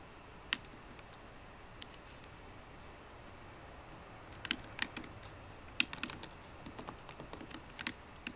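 Fingertips with painted nails on both hands tap the black plastic keys of a solid 13-inch silver aluminium MacBook Pro laptop keyboard. A few sparse, quiet clicks come first, then from about halfway through the typing turns into denser bursts of sharp, bright key taps that stop almost instantly, over a low steady background hiss.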